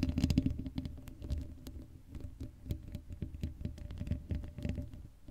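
Long acrylic nails scratch across the hollow black metal mesh grille of an uncovered Blue Yeti microphone. The result is a fast, uneven run of dry, muffled scratches and taps, heavy in low rumble with a faint hollow ring, louder at the start and then softer.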